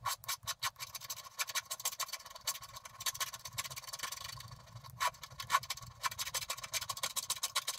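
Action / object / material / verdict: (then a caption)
scrape / scratch-art paper card scraped with a wooden stylus / coated paper / none. A wooden stylus scrapes the black coating off the pink background of a flat scratch-art card in fast back-and-forth strokes. The result is a dense run of bright, dry scratching bursts with a faint ringing tone near 1.1 kHz. Quieter rubbing fills the stretch in between.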